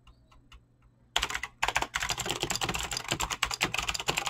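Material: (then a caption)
Plastic. Fingertips type fast on a mechanical keyboard with clicky green switches and PBT plastic keycaps. A few faint, quiet ticks come first, then a rapid, steady run of sharp, bright clicks and clacks with very short decay continues to the end.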